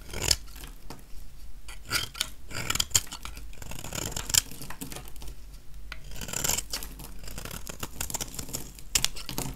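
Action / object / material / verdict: scrape / small bar of soap scraped with a metal blade / soap / none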